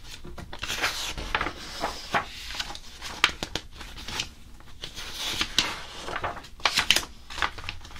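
Fingers rub and scratch the smooth coated pages of an open glossy paper magazine lying on a blue table. Dry, bright swishing scrapes come in uneven waves, broken by short, sharp papery ticks with almost no ring.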